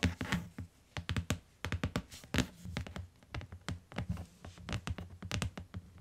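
Fingertips and long nails tap along the bottom edge of a closed tan hardcover book with a cardboard cover lying on a fur rug. Quick, irregular runs of short, dry taps pair a low hollow thud with a bright clicking edge. Each tap dies away almost at once.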